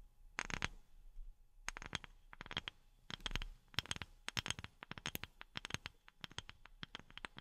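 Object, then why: Wooden object. A wooden object is tapped with silicone rubber pads worn on the fingertips. Quick, dry taps come in uneven bursts, each a short bright click with a soft low thump and almost no ring.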